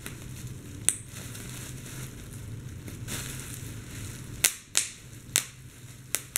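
Fingers with blue-painted nails pinch and squeeze a large sheet of clear plastic bubble wrap, popping its air-filled bubbles. Between soft crinkling and a low rustle, there is one sharp pop early on and then a quick run of several bright, snappy pops near the end, each dying away almost instantly.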